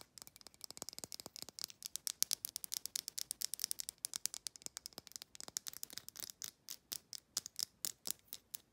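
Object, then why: Small glass bottle with paper label. Long nails tap quickly on a small amber glass supplement bottle with a paper label, striking the glass neck, the label and the screw threads. About sixty quiet, dry clicks follow one another in a steady rapid stream. They are bright and high with almost no ring or low end.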